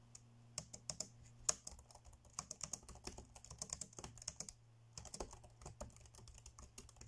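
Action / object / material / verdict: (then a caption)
tap / plastic laptop keyboard keys / plastic / none. Fingertips tap quickly on the dark grey plastic chiclet keys of an ASUS laptop keyboard. The result is a fast run of short, bright clicks with a brief pause near the five-second mark, over a faint steady low hum.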